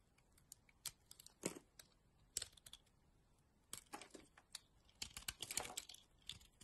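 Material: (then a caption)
Soap. A utility knife blade cuts and scrapes slices off a solid yellow bar of soap held in the palm. Quiet, crisp, bright scraping and slicing strokes come in irregular bursts, each with a short crackly rasp that stops almost at once. There is little low end.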